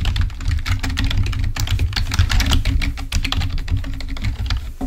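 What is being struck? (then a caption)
Plastic membrane computer keyboard. Fingertips of both hands type rapidly on a full-size black plastic membrane keyboard, then one hand continues typing. Dense, short, bright clicks and taps run continuously over a strong low, steady rumble.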